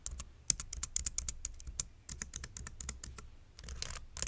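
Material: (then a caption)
Plastic. Fingertips type quickly on a white plastic full-size mechanical keyboard resting on a wooden board. Each keystroke is a short, bright click with a soft low thud beneath it, and a brief pause falls in the middle of the run. The clicks stop dead with no ring.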